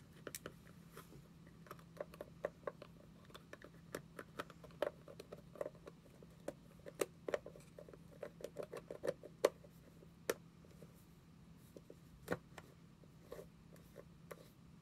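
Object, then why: Small plastic cream jar. Long nails tap and scratch the body of a small orange plastic cream jar with a white lid, held in both hands. Quick, light, clicky taps with a hollow tone around 570 Hz come in irregular bursts, mixed with soft scratching and a faint steady low hum beneath. Each tap dies away almost instantly.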